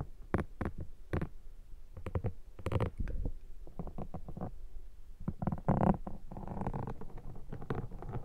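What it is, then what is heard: Foam microphone windshield being scraped. A metal pick is scratched across a black foam microphone windshield throughout, producing a rapid run of short, close, muffled scrapes and soft squishy crackles. The sound is mostly low and dull, with brief brighter scratchy streaks, and it continues unevenly for the whole clip.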